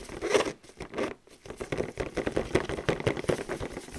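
Fingertips in clear plastic gloves tap and scratch quickly over the front face of a flat, boxy printed cardboard excavation kit box that is probably not empty. The result is a fast, dense patter of dry, short taps and scrapes centred in the low mids, broken by two brief pauses early on, with some glove crinkle possibly mixed in.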